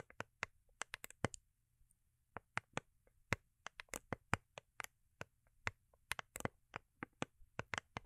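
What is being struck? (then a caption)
Foil-covered cardboard gift box. Long acrylic nails tap and scratch a small, hollow, rigid cardboard gift box covered in holographic foil paper and held in the hands. Many quick, dry clicks with very short ring come in uneven bursts over a faint low hum, each tap bright and crisp with a light hollow body. A short pause splits the first second from the steadier run of taps that follows.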